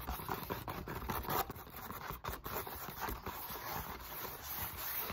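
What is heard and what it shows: Long nails tap and scratch along the textured surface of a solid black molded polyethylene foam roller lying across a lap. Quick, dry scraping strokes mix with soft taps in a steady, busy texture, centered in the midrange around 950 Hz with a faint bright hiss above.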